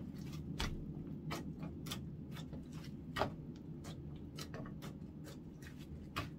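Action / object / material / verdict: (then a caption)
tap / clear slime pressed on a wooden counter / slime / none. Orange clear slime is folded, squeezed and pressed flat with fingertips on a wooden counter. Soft, sticky clicks and small bright pops repeat over a low, steady rumble, with a few slightly louder snaps standing out.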